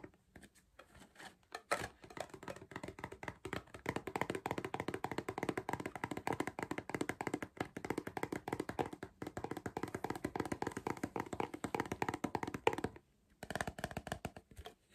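Fingertips tap rapidly and continuously on the plastic lid and side of a hollow cardboard Pringles crisp tube, producing dry, short hollow knocks centered in the mid range. The tapping runs steadily for about 11 seconds, pauses briefly near the 13-second mark, then resumes.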